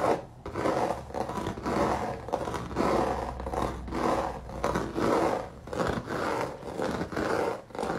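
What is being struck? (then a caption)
Dried acrylic paint on a canvas. Fingertips and nails of a ringed hand scratch quickly across a flat square canvas or panel covered in thick, dried, crinkled dark-red acrylic paint with raised droplet bumps. Rough, raspy scraping strokes come in bursts of about a second each, separated by brief pauses, with most energy in the low-mids and little high brightness.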